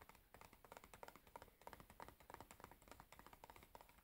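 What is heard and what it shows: Long nails tap and scratch the sides and top of a large, closed cardboard matchbox full of matches, held in the hands. Quick, dry, short taps come in an uneven patter with soft scratching between them, with a papery midrange and little ring.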